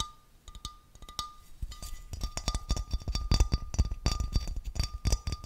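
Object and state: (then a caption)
Glass vase. A small, clear, thick-walled glass vase or bowl with a textured, wavy surface, hollow and empty, is held in both hands and tapped and scratched with fingertips and nails. Quick, dry taps with a low thump and short bright clicks start sparse and soft, then grow into a dense, louder run of rapid tapping and scratching. A faint steady tone sits underneath throughout.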